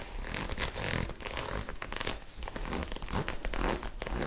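Long acrylic nails quickly scratch and rub a soft magenta ribbed knit fabric garment held bunched in the hands. The result is a steady stream of rapid, raspy scratching bursts with bright hiss over a low, muffled rumble, with no pauses.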